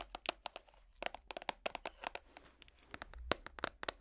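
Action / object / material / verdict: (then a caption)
tap / clear plastic compartment box / plastic / none. Metal finger picks tap and scratch a small, hollow, clear plastic organizer box whose compartments hold small colorful items, held close to the microphone. The result is a rapid, irregular string of sharp, dry, bright clicks and crackly scratches that stop almost instantly, with a hollow plastic tone.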